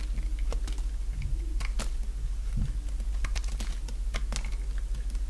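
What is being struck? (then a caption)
Bar of soap cut with a blade. A small, solid white bar of dry soap, already partly carved down, is shaved with a utility-knife blade, and crumbly chips break off with each stroke. Short, crisp, dry scraping crackles and clicks come in quick, uneven succession over a steady low hum.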